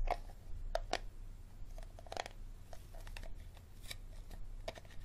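Fingertips and nails tap and scratch the ridged base of an empty, hollow, clear hard plastic water bottle held bottom-up. Light, quick taps with a hollow tone near 700 Hz mix with short scratchy brushes that reach into the highs. A steady low hum runs underneath throughout.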